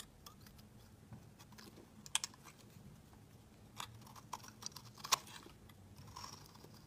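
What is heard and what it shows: A metal utility-knife blade scrapes and shaves thick flakes off a hand-sized solid blue soap bar held in the fingers. Quiet, irregular, bright crisp scraping and cutting sounds are broken by a few sharper, louder crunchy slices, each stopping almost instantly with no ring.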